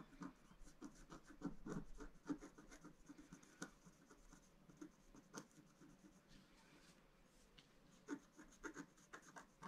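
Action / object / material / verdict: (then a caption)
scrape / wax-coated scratch-art card scratched with a wooden stylus / coated paper / none. A wooden stylus scratches small stars and dots into the coating of a black-coated scratch-art card lying flat on a table. Quiet, dry scratching comes in short, irregular strokes and taps, with a soft low-mid body and faint bright edges. Brief, louder scrapes stand out between stretches of lighter scratching.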